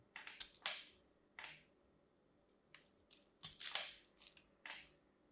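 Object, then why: Soap bar cut with a blade. A craft knife shaves the scored cubes off a solid teal and white striped soap bar held in the fingers. Each cut makes a crisp, bright crunching scrape with almost no low end, heard as a series of short bursts separated by quiet pauses.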